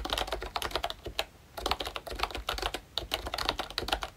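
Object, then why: Plastic membrane keyboard. Fingertips type rapidly on a pink plastic ROYCHE Disney Mickey Mouse retro membrane keyboard with round keycaps and a hollow body. The keys give bright, hollow plastic clacks in quick bursts, with a brief pause partway through. Each tap is short and dies away almost instantly.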